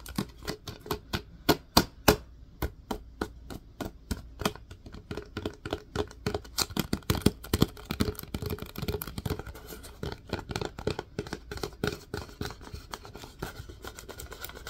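A plastic disinfecting wipes canister, held on its side, is tapped and scratched by fingers across its label and body. Quick, dry taps come in a steady, uneven stream, mixed with soft scratching, with a hollow tone around 420 Hz and very little ring after each tap.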